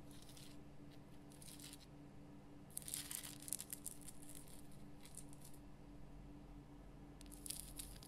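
Long fingernails scratch the rough crystal surface of a large pink Himalayan rock salt lamp, on hands with bracelets at the wrists. Quiet bursts of bright, gritty rasping come and go over a steady low hum. The scratches stop dry, with no ring after them.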